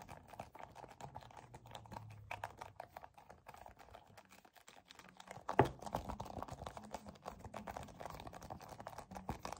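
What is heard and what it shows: A white and yellow soft plastic cosmetic tube, hollow and filled with cream, is gripped and squeezed with both hands, fingertips and short nails. The result is a quiet, steady stream of soft tapping and crinkling clicks, with one sharper, louder snap about halfway through.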